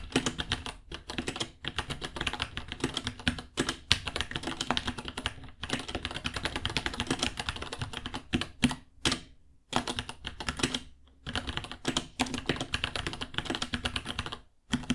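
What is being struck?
Plastic mechanical keyboard.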